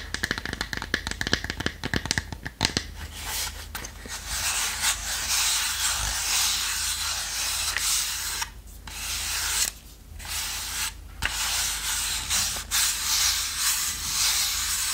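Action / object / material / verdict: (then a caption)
scrape / small plywood box / plywood / none. Fingertips and long nails rub and scratch the lid and sides of a small, hollow, closed box of light unfinished plywood with a small metal clasp. Quick scratchy ticks open the clip, then give way to a steady, bright, hissing rub with a few short pauses.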